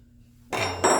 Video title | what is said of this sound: Episode 37: Final Assembly - Windage Tray Installation on my 5.3L LC9 Engine Rebuild | that noise is the connecting rods tapping the windage tray